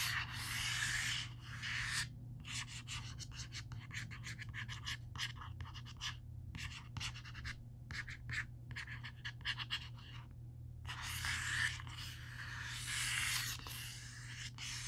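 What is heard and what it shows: Fingertips and nails scratch and trace along the printed spine of a large, closed, solid black hardcover Marvel omnibus standing on a wooden table. Long, bright, hissy scratching strokes open and close the clip, with a dense run of quick, uneven scratches in between, all over a steady low hum.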